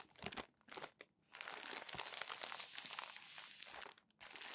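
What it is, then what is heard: Crumpled glossy magazine paper. A stack of crumpled glossy magazine pages is rubbed and smoothed with flat palms and the pages are turned. Short bursts of bright, crisp crinkling give way to a long stretch of steady, hissy rustling that briefly drops out and then resumes near the end.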